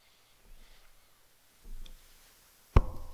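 A microphone standing in front of someone is knocked on with the hand. Two soft, low, muffled thumps are followed by one sharper knock that rings briefly with a low, boomy tail.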